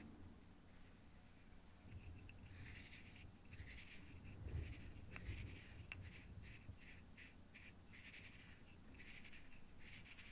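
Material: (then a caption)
Acrylic. A fingertip taps and rubs the top surface of a small, hollow, clear plastic or acrylic cube held in the hand and partly filled with purple material. Soft, bright scratchy strokes repeat in uneven bursts over a low, steady rumble, with a couple of sharp, short clicks near the middle.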